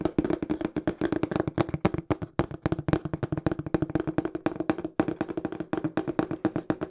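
Fingertips tap fast on the faces of a small, hollow, empty-looking brown cardboard shipping box with a black printed smile logo. The result is a rapid, uneven flurry of dry, hollow taps with a dull low-mid resonance, each one cut off almost at once, running steadily to the end.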